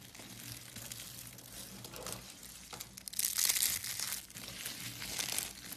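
A pile of thin, dried blue and pink carved soap shavings, solid and brittle, is crushed and crumbled between the fingertips of both hands. It makes a dense, bright crinkling crunch with a faint low hum underneath. The crackle grows loudest and sharpest about halfway through, then settles back into a steady crumbling.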